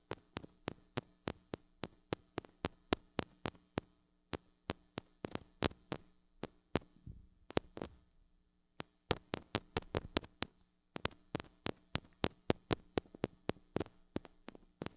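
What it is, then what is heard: Metal mini microphone tapped. A small gold-colored mini microphone with a metal body, a metal mesh grille and a hollow head is held in one hand and tapped on the grille with long acrylic nails. Dozens of sharp, very short clicking taps sound in quick irregular runs over a faint low hum, with a brief pause before the last third. Each tap is bright and dies away almost instantly.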